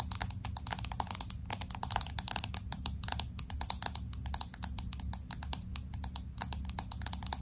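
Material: Glass, aluminium.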